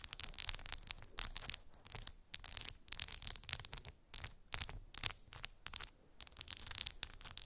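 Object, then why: Plastic phone case with resin charms. Long pink acrylic nails scratch and tap colorful resin gummy bears set into a clear plastic phone case lying on fluffy fabric. The result is a steady run of bright, crackly scratching and dry clicking bursts with almost no ring, separated by brief quiet gaps.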